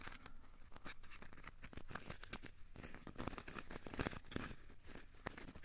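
A small, solid, crumpled ball of aluminium foil is held in both hands and squeezed and scratched with the fingertips. It makes quiet, steady crinkling and scratching, with dense bursts of short, dry crackles and a few slightly louder snaps near the end.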